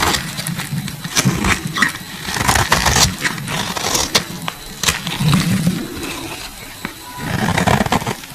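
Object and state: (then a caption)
Bar soap scraped with a blade. A metal utility blade carves and scrapes a solid, translucent pink bar of soap held in hand, curling shavings off it. The clip is a steady run of crisp, dry scraping strokes with sharp bright clicks and short snaps over a soft low rumble. Each stroke dies out almost at once.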